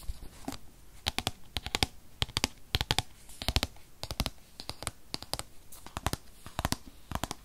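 Long fingernails tap quickly on the front face of a rigid, tablet-sized white paperboard box that holds a 2020 8th-generation iPad. The taps come as sharp, bright clicks in rapid clusters of two or three with almost no ring. Quiet pauses separate the clusters.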